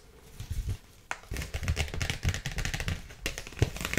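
A dark polka-dot paper gift bag with a ribbon bow and rope handles, hollow with contents inside, is tapped and scratched with long nails. Soft, low, hollow thuds mix with bright, crinkly papery scratching. It starts quietly, then becomes busier with quick, short taps throughout.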